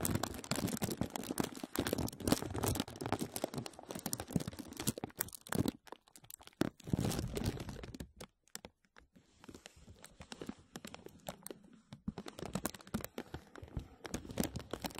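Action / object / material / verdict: scrape / thin plastic film bag / plastic / none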